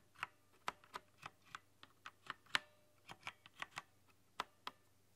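Long nails and fingertips type on a rainbow-lit, backlit mechanical keyboard with translucent plastic keycaps. About fifteen quiet, crisp clicks and taps come at an uneven pace, each bright and clacky with almost no ring. The clicks are separated by near silence.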